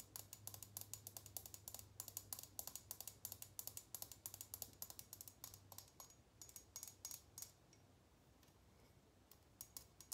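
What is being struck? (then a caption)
Small faceted glass tumbler. Long fingernails tap rapidly on a small, empty faceted glass tumbler held in the hands, making dense bursts of bright, sharp clicks with almost no ring. The tapping runs in quick flurries, pauses briefly near the eight-second mark, then resumes with scattered taps over a faint low hum.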